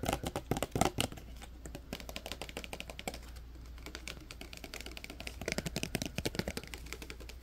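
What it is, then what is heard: Plastic clip-on sunglasses. Small black clip-on sunglasses with plastic lenses and a metal clip are held in both hands while fingertips and nails flip the lenses, click the hinge and tap the frame. The result is a rapid, dense run of short, dry clicks and taps, much like typing, over a steady low hum. The clicks are loudest in the first second and again from about 5.5 to 6.5 seconds.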